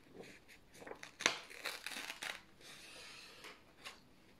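Thin white printed office paper sheets are held in both hands while fingertips start slow tears at the top edge. Quiet, bright crinkling and ripping bursts come in uneven spurts, with one sharper snap near the start. A softer, steady rustle follows toward the end.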